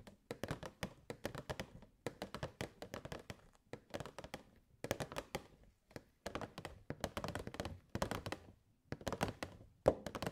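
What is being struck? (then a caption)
Clear plastic box. Long nails tap rapidly on the sides and front of a hollow, clear plastic box with purple fairy lights inside. The taps come in quick bursts separated by short pauses, making dry, short clicks with a hollow tone around 520 Hz that dies away almost at once.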